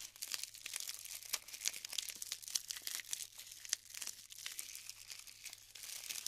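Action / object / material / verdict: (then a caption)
scrape / glued polystyrene foam bead clusters / polystyrene foam / none. Fingers grab and crumble clusters of glued polystyrene foam balls in a tray. It makes a steady stream of quiet, bright crackling and crinkling with sharp little snaps and pops, each dying away at once, with almost nothing in the low end.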